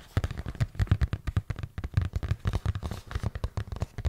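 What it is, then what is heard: Cardboard box tapped and scratched. A hollow printed cardboard product box is tapped and scratched with fingertips and nails close to the microphone. It gives a rapid run of soft, dull, low thumps with faint scratchy rustle between them, each tap dying almost instantly.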